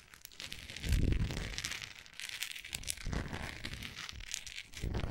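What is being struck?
Wax pillar candle.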